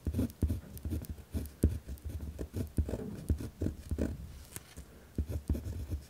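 A pen tip scratches across a white lined paper pad resting on a wooden desk while writing, making rough, rhythmic scratching strokes. The sound is low and dull with short, quick-fading taps in an uneven run of strokes and no bright hiss.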